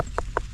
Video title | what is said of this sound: How To Make Pumpkin Pie With HOMEGROWN Pumpkins | If you pick it up and you hit it, it sounds hollow.